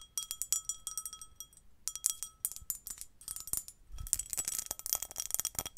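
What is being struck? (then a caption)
Pressed glass bowl. A small, hollow, empty, pinkish-red patterned pressed glass bowl is held in both hands while long nails tap and scratch its rim and ridged body. Quick, bright clinks ring with steady tones around 1.3 kHz and 3.3 kHz, pausing briefly before a denser, scratchier flurry of taps near the end.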